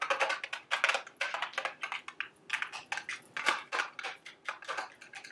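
Long, sharp acrylic nails tap rapidly on a small, hollow, printed, milk-carton-shaped cardboard Dubble Bubble gum Easter eggs candy box held up in the hand. The taps are a quick, irregular series of dry, light, clicky strikes with a bright, papery tone. Each tap dies away almost at once.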